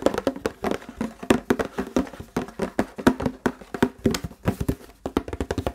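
Fingertips and nails tap and scratch the body and label of a large, clear, empty and hollow plastic Fiji water bottle. A rapid, uneven run of short, dry taps gives hollow, low-mid knocks around 250 Hz with quick decay, mixed with faint bright scratching between them.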